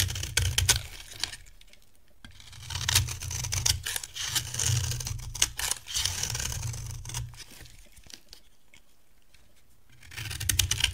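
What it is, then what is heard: Dry bar soap being shaved. A solid, dry cream bar soap is scraped and shaved with a metal blade, making bursts of crisp, bright, crinkly scraping over a low thudding rumble. The shaving comes in rapid, irregular strokes, with quiet pauses near the two-second mark and again before the final burst.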